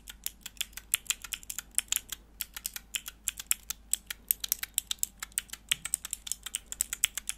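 A small, hollow, clear plastic switch tester with four mechanical keyboard switches and grey plastic keycaps is held in the hands while long nails press and click the keys. The result is a rapid, irregular stream of sharp, dry clicks and taps, very bright and high with almost no low end, each click dying away instantly over a faint low hum.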